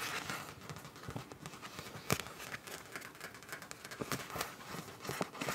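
Long nails scratch and tap the surface of a frosted, translucent soft plastic zip pouch with a teal print showing through, apparently empty. The sound is a quiet, steady crackly rustle with short bright scratches and soft taps, including one sharper, louder tap near the middle.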